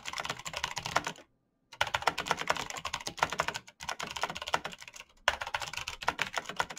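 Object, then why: Plastic mechanical keyboard. Bare fingertips type fast on a black plastic mechanical keyboard with clicky switches, producing rapid bursts of sharp, bright clicks with almost no ring. The typing breaks off in a short silence near the first second and pauses briefly twice more before resuming at the same quick pace.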